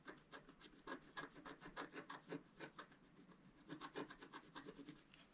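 A wooden stylus scratches lines into a flat black-coated scratch-art paper sheet held by one hand, drawing a planet. The result is a quick series of short, dry scraping strokes with a papery rasp that reaches into bright highs.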